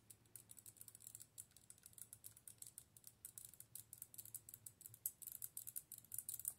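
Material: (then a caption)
Plastic. Long nails tap and scratch a clear, hollow plastic light-up orb with LEDs inside, mounted on a dark plastic handle. About forty quick, quiet, bright clicks and ticks follow one another with almost no ring, growing denser and louder toward the end over a faint low hum.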